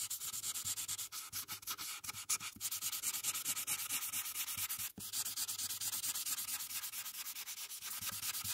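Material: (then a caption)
Paper. A held felt-tip marker makes small, quick, repeated rubbing strokes across a thin printed paper coloring page lying flat on a dark surface, coloring in the sky. The result is a steady, bright, hissy scratching with almost no low end, pausing briefly near the five-second mark before continuing at the same pace.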